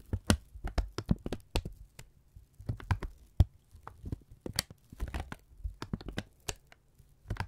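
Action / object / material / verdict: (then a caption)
scrape / thin kraft paper strip / paper / none. A thin brown kraft paper strip is held in both hands, folded over and crinkled with the fingertips close to the microphones. The result is a quick, irregular run of dry crackles and crisp snaps, each spiking bright over a soft low rumble and stopping almost at once.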